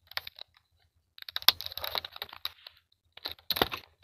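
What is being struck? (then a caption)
Clear plastic clamshell box. Fingertips with short nails tap and scratch the lid of a medium clear plastic clamshell toy box with a printed Hello Kitty card insert on top, hollow with toys inside, lying on a textured dark mat. Crisp, bright plastic clicks and scratchy rustles come in three quick bursts separated by short silences. Each tap is sharp and dry with almost no ring.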